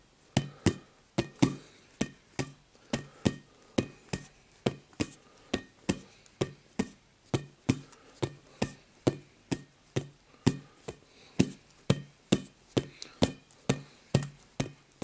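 Fingertips tap a rainbow-coloured, hollow, air-filled inflatable vinyl/rubber play ball held up close in both hands, turning and handling it throughout. About 38 short, hollow thumps come in a steady, slightly uneven rhythm, each with a low, drum-like body and a bright click that dies away almost at once. Faint handling rustle sits between the taps.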